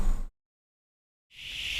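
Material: Nothing is struck.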